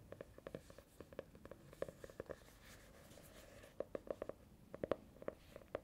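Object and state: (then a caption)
Hardcover notebook tapped with nails. Long nails tap and scratch the smooth faux-leather or plastic-coated cover of a small orange hardcover notebook held close to the mic. About two dozen quiet, crisp clicks with a hollow mid-pitched tone come in quick bursts, broken in the middle by a stretch of soft, continuous scratching. The taps stop dead with no ring.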